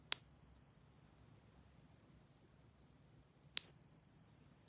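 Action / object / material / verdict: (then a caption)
flick / silver dollar coin / silver / real. A genuine 90% silver Morgan dollar coin is pinged twice for comparison with a fake. Each ping gives a clear, high, bell-like ring that fades slowly over several seconds, confirming the coin is real.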